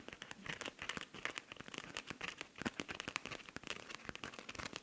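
Long nails scratch quickly across the surface of a silver rhinestone-covered cosmetic pouch with a pink zipper. The result is a dense run of bright, crisp clicks and scratchy crackles with almost no low end, each tick dying away instantly. The rapid, uneven scratching stays fairly quiet throughout.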